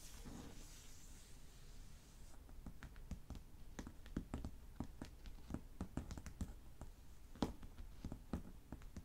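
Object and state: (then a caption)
Wooden table top. Fingertips and short nails of both hands tap and scratch a large, solid wood-grain table top with nothing on it. Quiet, quick, dry taps and light scratching come in irregular bursts, each dying away almost at once over a low background hum.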